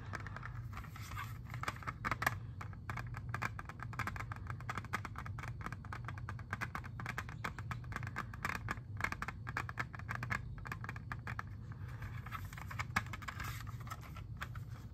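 Fingernails tap and scratch on a hand-sized, hollow clear plastic jewel case holding an Xbox 360 disc. Rapid, dry clicks and scrapes with a bright edge come in a steady stream that stops quickly after each one. A constant low hum sits underneath throughout.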